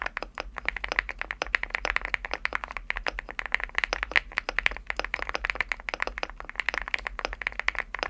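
Fingertips type steadily on a Leobog Hi8 75% mechanical keyboard with a green aluminum case and cream PBT plastic keycaps. It makes a fast, continuous run of crisp, bright clacks centered around 2 kHz. Each keystroke cuts off sharply with no ring over a faint low hum.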